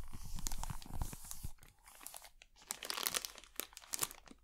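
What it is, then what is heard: Plastic film bag over a box. A thin wooden stick scratches and pokes the clear, crinkly plastic bag loosely wrapped over the top of a small black box held in one hand. Dense, irregular crinkling and crunching rustles are broken by sharp, bright crackles and short dry taps. The sound is louder and fuller in the first half, then thins into quieter scratching with scattered crisp snaps.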